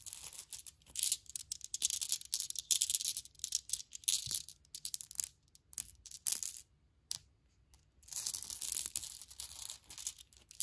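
Small solid glass marbles are held in the hand, picked up with long-nailed fingers, and shaken and rolled together. The result is quiet, bright clinking and rattling in dense bursts of short clicks, with a near-silent pause before the rolling resumes.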